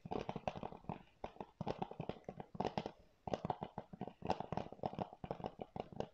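Fingernails scratch and tap quickly on a hollow blue plastic PS4 game keep case held in both hands. Clusters of dry, clicky taps and scratches in the mid-range come in short bursts separated by brief pauses, each sound stopping almost instantly with no ring.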